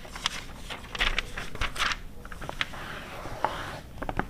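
Long red nails scratch and tap the pages of an open glossy paper car magazine from 2009 lying flat, right after a page is turned. Soft papery rustles and crinkles mix with sharp, bright nail taps and short scrapes across the glossy surface. Each sound dies away almost at once.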